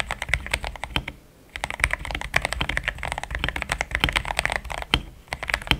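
Fingertips type in steady taps on a pink-framed compact mechanical keyboard with thick cream XDA plastic keycaps, a polycarbonate plate, linear switches and a hollow case. A quick run of short, bright clacks is heard, each with a low thud beneath it, pausing briefly near the one-second mark before carrying on.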